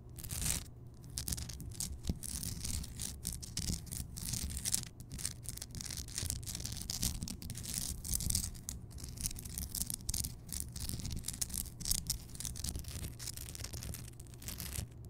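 Long nails scratch and tap the rough surface of a large, solid, lit Himalayan rock salt lamp. The result is a steady, bright, gritty scraping with dense, quick, dry taps that die away almost instantly, over a constant low rumble.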